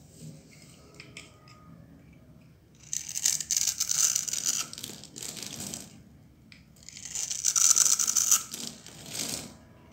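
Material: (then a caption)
Soap. A solid, dry green bar of soap held in the palm is shaved and cut into small cubes with a metal utility knife blade, and crumbling chips fall away. Two bursts of bright, dry scraping and crisp crumbling stand out against a quiet background, with rapid, slightly uneven cutting strokes.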